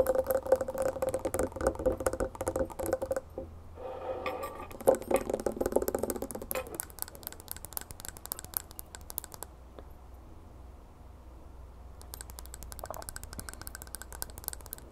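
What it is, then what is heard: Glass tumbler of ice water. A clear, medium-size drinking glass full of water with ice cubes and cucumber slices is held in both hands and rapidly tapped and scratched with long painted nails, while metal bangles and rings may add faint clinks. Quick, bright, clicky taps and scratchy rasps come in an uneven stream, with a soft glassy ring around 520 Hz in the first half. The tapping then thins into quieter, scattered clicks and scratches.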